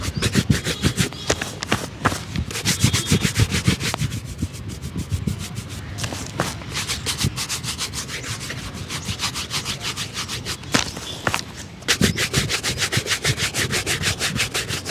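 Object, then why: Leather shoe and bristle shoe brush. A small wooden-backed shoe brush is rubbed vigorously by hand over the upper of a hollow, empty black leather slip-on shoe, outdoors on a tarp. Fast, steady back-and-forth strokes make a bright, scratchy bristle hiss over low, dull body thumps. The strokes soften into lighter brushing in the middle before picking up hard again near the end.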